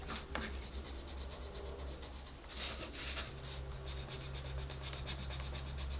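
A wooden colored pencil is rubbed and scratched back and forth across the page of an open paper coloring book lying flat on a desk, while the other hand, with long red nails, steadies the page. A steady series of short, bright, papery scratching strokes repeats over a low background hum.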